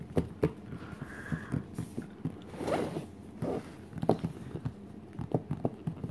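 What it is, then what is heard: Cardboard art case lid. Fingertips and short nails scratch and rub across the glossy printed cardboard lid of a flat, hollow Crayola art case lying closed on the floor. The result is a string of soft, dry scrapes and light taps with a hollow, low-heavy body and no ring.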